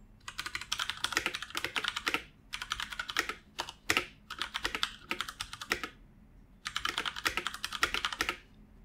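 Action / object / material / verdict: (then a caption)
tap / plastic computer keyboard / plastic / none. Fingertips of both hands type continuously on a full-size black plastic computer keyboard resting on a wooden desk. Rapid, bright plastic key clicks come in bursts separated by short pauses, with a few sharper, louder strikes standing out.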